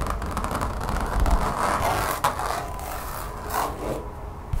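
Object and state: Textured rubber mat.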